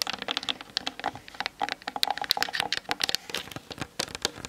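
Long nails tap and scratch fast across the hollow plastic body of a Canon DSLR on a tripod, including the top near the lens, picked up by the camera's built-in mic. A quick string of short, dry, bright clicks and ticks with light scratchy rustle between them, with almost no low end and no ring.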